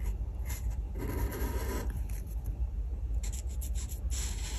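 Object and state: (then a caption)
Marker colouring on paper. A felt-tip art marker held in the fingers rubs and scratches back and forth across a flat printed paper colouring page on a table while colouring in a bread slice. Soft, continuous papery scraping comes in short strokes with brighter scratchy bursts, over a steady low hum.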